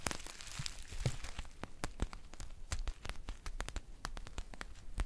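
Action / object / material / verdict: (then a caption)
scrape / foil tea pouch with paper label / foil / none. Long painted nails scratch and crinkle a green foil tea pouch with a paper label, making a dense run of sharp, bright crackles and crisp ticks. Rustling fills the gaps, and each snap stops almost instantly.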